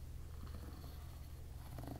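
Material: Nothing is struck.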